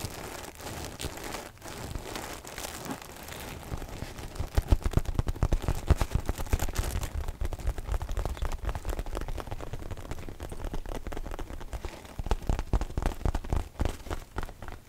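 A dark floral fabric zip pouch, soft and padded, is held in both hands and scratched and rubbed with fingernails and fingertips. The result is a dense stream of quick, dry crinkling and scratching that is heavy in the low end. It runs quieter for the first few seconds, then grows busier and louder.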